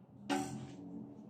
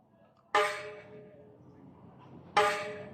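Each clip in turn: First: aluminum bicycle spoke, deeper ringing tone. Second: stainless steel bicycle spokes, high ringing tone.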